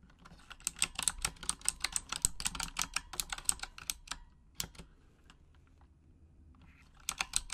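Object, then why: Plastic mechanical keyboard. Long acrylic nails tap the plastic keycaps of a full-size pink Razer Huntsman mechanical gaming keyboard with RGB backlighting in a typing motion. A quick run of sharp, bright clicks slows to a few scattered taps, goes quiet for about two seconds, then a short final burst of clicks follows.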